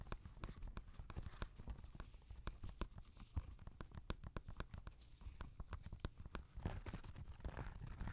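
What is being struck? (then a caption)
Knit fabric sneaker. Fingernails tap and scratch the toe and upper of an empty grey Adidas NMD knit-fabric sneaker held on a lap. Quick, dry clicking taps come in an uneven stream, with some bright transients over a low rumble. Softer rustling scratches fill the gaps toward the end.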